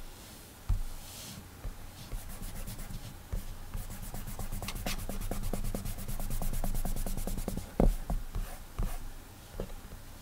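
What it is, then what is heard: Fingertip drawing on a glass tablet screen. A fingertip rubs quick sketch strokes across the glass touchscreen of an iPad resting on a desk, making a soft, dry, rapidly repeating rubbing. Occasional duller, thudding taps land as the finger presses menu buttons on the screen.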